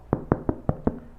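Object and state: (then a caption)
Hollow-sounding loaf, fully baked. Five quick, dull knocks on the bottom of a freshly baked sourdough loaf held close to the microphone, each short with low, hollow-sounding body and no bright ring. The hollow sound shows the loaf is well baked with a crunchy crust.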